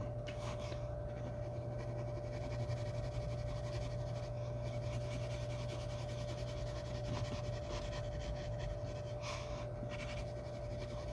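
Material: Nothing is struck.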